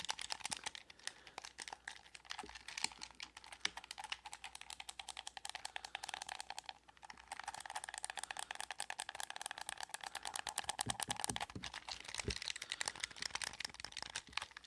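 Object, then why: Plastic game controller. A blue hollow plastic gamepad is held close to the mic while fingertips rapidly click its buttons and the controller is handled and rattled. The result is a dense stream of sharp, dry, bright plastic clicks with a light rattle, easing briefly around the seven-second mark before picking up again.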